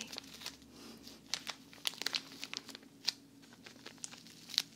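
A small, thin plastic bag full of cotton rounds is held in both hands and squeezed by fingers and long nails. It makes a series of sharp, bright crinkles with quiet rustling between them.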